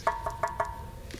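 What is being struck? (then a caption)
Bronze sculpture reproduction. Someone knocks on a bronze tactile reproduction of a sculpture at the Rouen Museum of Fine Arts, a reproduction colder than stone, almost icy. Four quick knocks each give a short metallic ring with a clear pitch near 900 Hz and a stack of overtones, followed by a softer, duller fifth tap. The bronze rings briefly with each knock, as expected.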